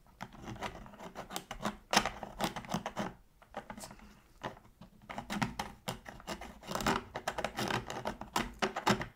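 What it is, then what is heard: Plastic game controller. A pointed metal tool, held in gloved hands, scrapes the crevice between the shoulder buttons of a black, hollow, hard-plastic PS3 controller lying on its side on a dark surface to clean it. A rapid, uneven run of short, dry scratches and clicks comes in bursts with brief pauses. Each scrape is bright and stops almost at once, with no ring.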